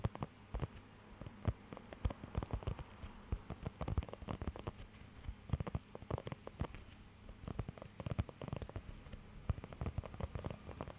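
Fingertips scratch and tap across the raised nubs of a thin, flexible blue rubber pet hair grooming glove held close to the microphone. The result is a quiet, steady patter of dense, irregular, very short clicks and scrapes, weighted toward the low end and resembling light rain on a surface, with louder taps scattered throughout.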